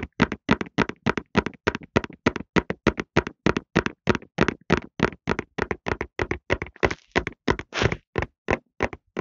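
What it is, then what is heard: Cardboard tissue box. A medium-size Softlan cardboard tissue box, hollow and full of tissues, is held horizontally in both hands and rapidly tapped on its sides with fingertips and short nails. The result is a quick, fairly steady stream of dry, hollow taps with almost no ring, each one a short broadband burst reaching into bright highs. A few taps near the end sound longer and more brushing.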